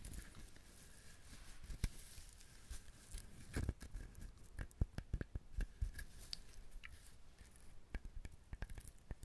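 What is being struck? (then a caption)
Whole husked coconut shell. A whole brown husked coconut is held in both hands while fingertips and nails tap its shell. Around twenty quiet, short, dry taps come at an irregular pace, each a dull low thump with a faint bright click and almost no ring.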